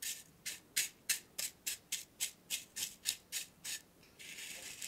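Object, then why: Loose black tea leaves in a metal tin. Fingertips with short nails rub and scratch across the surface of loose dry black tea leaves filling a small, open, square purple-rimmed metal tin held steady in the other hand. Thirteen quick, bright, crackly rustling strokes come in a steady rhythm, followed by a continuous softer scratching rustle to the end.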